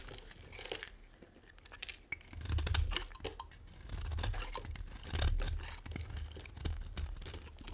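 A metal cutter scrapes and carves flakes off the face of a solid, dry white bar of soap. Dry, crunchy scraping and crackling strokes come in repeated bursts over a low, muffled rumble, with brief bright clicks between strokes.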